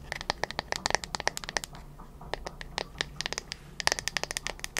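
Long nails tap and scratch the wooden back of a flat bamboo paddle hairbrush. Quick, dry, bright clicks come in rapid bursts with a brief lull in the middle, over a faint, steady low hum. Each tap stops almost instantly with no ring.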